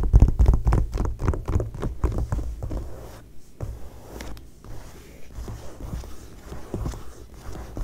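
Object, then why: Glossy paper magazine page. Fingertips and long nails tap and scratch an open glossy magazine fashion spread lying flat. A quick run of dull, muffled taps comes first, then fades into softer, scattered scratching on the paper.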